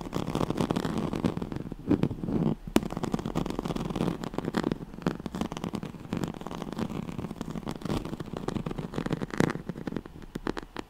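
Fingernails scratch the ribbed weave of a yellow striped woven oval pad, a straw-like fabric mat, producing a dense run of quick, crackly scratches. The rustling is mostly low-mid and dry, with sharp clicks that die away at once and a few louder snaps standing out.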